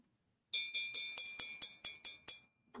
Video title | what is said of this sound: Friday's Show and Tell Jewlery and More Vintage Live Sale 11/122/24 4pm PDT/7pm EST | Hear that high pitched ring? That is because there is lead crystal in here